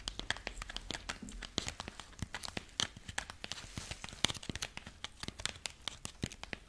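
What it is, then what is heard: Dried corn husk figurine, dry. A dried corn husk rabbit figurine is held in both hands while fingertips and long nails scratch and crinkle its dry husk legs. The result is a rapid stream of sharp, bright crackles and tearing-like rustles that die away almost instantly, over a faint low rumble.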